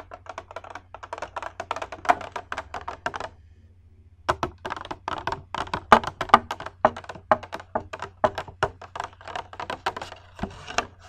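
A hollow, empty clear glass bowl held in both hands is tapped quickly with long red nails, giving rapid, dry clicking taps with a light ring around 1.2 kHz and bright upper edges. The tapping runs in fast bursts, pauses for about a second near the middle, then resumes with some louder taps over a faint low hum.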